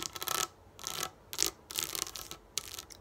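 Long nails scratch rapidly across the rows of raised plastic domes on a flat sheet of dome dot stickers lying on a table. Five bursts of bright, crackly scratching are separated by brief pauses, with energy concentrated high and almost nothing in the low end.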